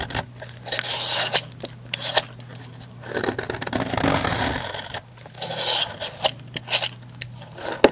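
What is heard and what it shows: A metal knife blade scrapes and shaves thin curls and flakes off the top of a long, solid, opaque pink soap bar lying on a white surface, leaving a ridged surface. Long, bright, raspy scraping strokes alternate with short, crisp ticks and scratches over a faint, steady low hum.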